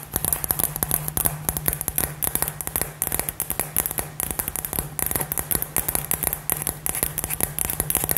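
A hollow, glittery light-up glass LED ball with gold glitter, about 15 cm across, is held in both hands and tapped rapidly with fingernails. Quick, crisp clicks with a bright, glassy top come in a steady, dense stream over a constant low hum, each tap dying out almost at once.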